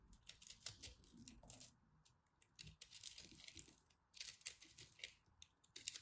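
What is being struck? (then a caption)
Pressed soap crumb ball cut with a blade. A hand-sized ball of pressed pastel soap crumbs, held in hands with red nails, is scraped and cut over and over by a utility knife blade. The result is a run of quiet, bright, crumbly carving and scratching sounds in short bursts with brief pauses, with little low end and no ring.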